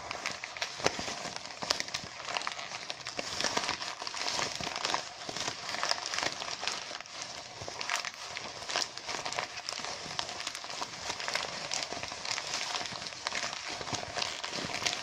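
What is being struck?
Deflated mylar foil balloon.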